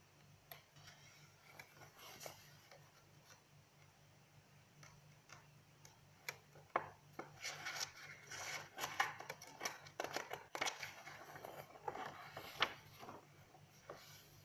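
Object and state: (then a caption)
Paper notebook pages rubbed and scratched. Fingertips and long nails rub and scratch the pages of an open lined paper notebook and riffle the page edges. The result is quiet, dry, bright rustling and scratching with sharp, crisp ticks that grow busier and louder in the second half, over a faint low hum.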